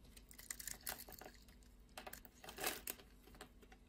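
A blade shaves and scrapes the surface of a solid blue and white striped bar of soap held in the palm. Quiet, bright, crinkly scraping bursts come in quick uneven strokes, with a few sharper louder scrapes among them. Each stroke dies away almost at once.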